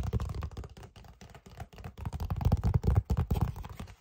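A red paper envelope with white lettering is held up in both hands and tapped with the fingertips. It makes a quick, irregular run of soft, dull, low taps mixed with papery rustling. Each tap stops almost instantly, and the tapping gets louder partway through before trailing off.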